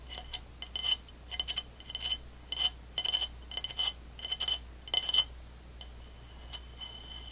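Long fingernails and fingertips tap the base of a medium-sized, upside-down dark blue ceramic plate, its hollow underside tilted up by one hand. The taps come in irregular bright clusters of sharp, clinky clicks with a short ringing tone near 3 kHz. A faint low hum runs underneath throughout.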